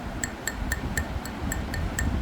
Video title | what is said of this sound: 화분에 대한 이야기를 해볼께요 | 요런 아이들은 대체적으로 저온에서 굽었다고 생각하시면 돼요